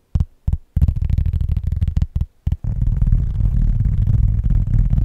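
A round cork board is tapped and scratched with fingertips on its granular cork surface. Dull, low thumps come in a few separate hits at first, then run together into a fast, continuous patter of tapping and scratching.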